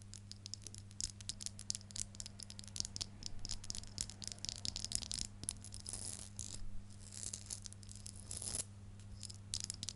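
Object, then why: Metal rhinestone heart pendant necklace. Fingertips with long nails handle and shake a small metal necklace worn on the neck, with a blue stone heart pendant in a rhinestone frame on a rhinestone chain. It makes a dense, bright, fast rattle of tiny clicks with no ring, over a steady low hum.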